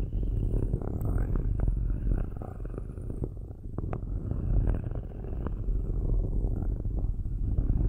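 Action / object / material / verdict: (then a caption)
scrape / perforated metal microphone grille / metal / none. Metal-tipped straight stick tools, held in both hands with long nails, slowly scratch and rub directly on the perforated metal grille tops of two black cylindrical microphones. The result is a dense, deep, rumbling scrape with a purr-like low hum, scattered small clicks and faint bright rasps, holding fairly steady throughout.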